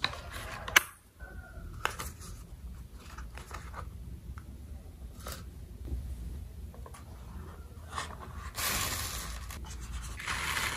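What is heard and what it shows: A small pink oval plastic toy soap bar marked "SOAP" is held between two hands and rubbed and scratched with fingertips and short nails. Soft, dry scraping and rustling continues throughout, broken by a few sharp clicks and taps. A brighter, louder rubbing stretch comes near the end.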